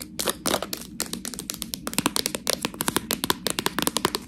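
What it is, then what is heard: Plastic package of fresh tortellini. Long nails scratch and tap a sealed clear plastic package full of fresh tortellini. Rapid, bright crinkling crackles and sharp dry taps follow one another with almost no ring, over a faint low background.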